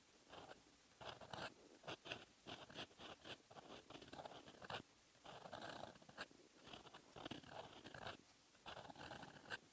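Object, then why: Metal pen nib on lined paper. A metal fountain pen nib writes in red ink on a lined paper notebook page, scratching the paper in short, dry, bright strokes with brief pauses between them. The scratching sits mostly in the mid to high range with little low end, and each stroke ends abruptly.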